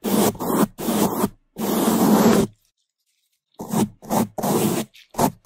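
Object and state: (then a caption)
Foam microphone windscreen brushed. A black foam microphone windscreen is scrubbed fast on its sides and top with bamboo toothbrushes held in gloved hands. Loud, dense scratchy brushing comes in bursts close to the mic, rich in low-mid rustle with a bright hiss. A second of silence falls midway before shorter, choppier strokes resume.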